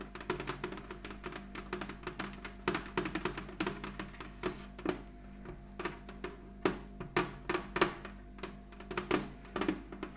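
A medium, flat, hollow heart-shaped box of clear red plastic, lying on a cloth-covered table, is tapped and scratched with the long acrylic nails of both hands. The result is a quick, irregular run of short, hollow clicks with a light plastic tone and bright scratchy edges, each dying away almost at once over a faint steady low hum.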